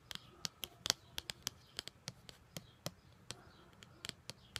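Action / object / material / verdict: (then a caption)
tap / white paperboard card / paperboard / none. Long gold glitter nails scratch and tap the surface of a flat white paperboard card, a printed card or booklet cover with a black line drawing, held close. Around seventeen quick, dry, bright clicks and scratchy taps sound in an uneven rhythm, each dying away almost instantly.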